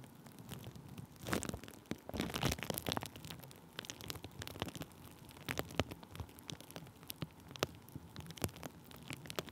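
Thin clear plastic bubble wrap laid over a microphone is tapped and rubbed with a wooden stick. The result is a quiet, rain-like patter of soft crinkles and rustles broken by sharp, bright clicks. Denser, louder bursts of rubbing come early in the clip, then scattered taps continue to the end.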